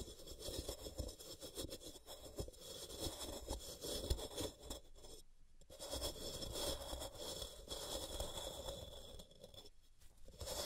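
A palm-sized solid white rectangular block of pressed gym chalk (magnesium carbonate), resting on a cork mat, is scraped down its sides with long purple-painted nails. Dry, gritty scratching strokes rasp on and off, with brief pauses, and chalk powder collects around the block.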